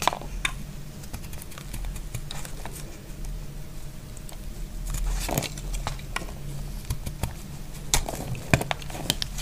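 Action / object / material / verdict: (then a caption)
scrape / bar of soap cut with a blade / soap / none. A utility blade slices flakes off a solid, dry, shrinking yellow soap bar. A quiet low hum runs underneath short, crisp scraping clicks and brief bright crackles that die away almost instantly.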